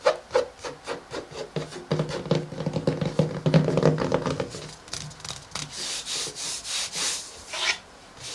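Fingertips and short nails of both hands tap and scratch the front cover of a closed pink hardcover daily journal, its cardboard cover wrapped in matte paper or cloth, lying flat on a wooden table. A quick, uneven run of soft, hollow taps with a low thud blends into dense scratching, then gives way to brighter, hissy scratching strokes toward the end.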